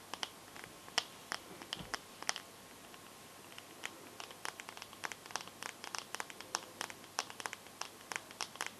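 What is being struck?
Smartphone glass touchscreen.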